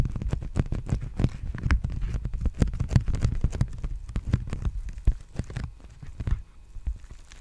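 Fingertips tap and scratch a large, empty black poly bubble mailer envelope held upright at the microphone. They make a dense run of quick, soft, dull taps with short crinkly scratches between them. The sound is low and muffled and grows sparser and quieter toward the end.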